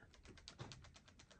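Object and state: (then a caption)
Tight impact driver, no internal rattle. A genuine Makita TD173 cordless impact driver is shaken close to the microphone in a shake test, giving a quick series of faint, soft clicks and taps. The tool is tightly packaged, with nothing rattling around inside.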